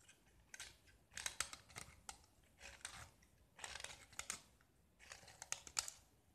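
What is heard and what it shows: A utility knife blade scrapes and carves the surface of a small, solid gypsum plaster block painted white with red diagonal stripes, held in the hand. Bright, gritty scraping and crunching come in short bursts of quick strokes, with near silence between them. There is almost no low end, and each stroke stops dry with no ring.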